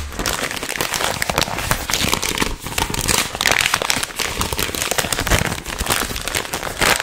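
A small green-and-white printed plastic film packet of chewing gum, a candy wrapper bag, is held in both hands while fingertips squeeze, crinkle and rub it close to the microphone. The result is a dense, continuous, bright crackling and crinkling, full of sharp little snaps that stop short, with a fairly steady loudness that swells in places across the seven seconds.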